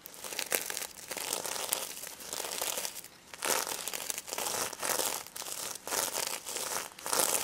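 Long red acrylic nails scratch and rub across the reversible plastic sequins covering a small, soft, filled stuffed pig plush toy. The result is a continuous bright, crinkly rasp in uneven bursts, with short dips between strokes and no low-end weight.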